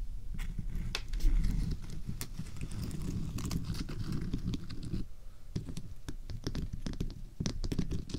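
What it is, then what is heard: Himalayan rock salt lamp. A large, solid, glowing pink Himalayan rock salt lamp is scratched and tapped across its rough surface by both hands with long painted fingernails, close to a binaural microphone. Dense, low, rumbly scratching is broken by sharp, bright nail taps and clicks throughout, each dying away almost at once.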